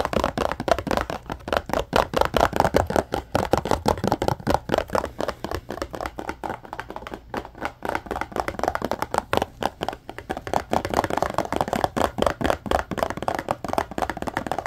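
Fingertips and short nails rapidly tap and scratch the flat faces and top edge of a small, hollow yellow cardboard Scrub Daddy sponge package held up close. The result is a dense stream of dry, hollow clicks and papery scratches centred in the midrange, each dying away almost instantly, with a slightly quieter stretch in the middle.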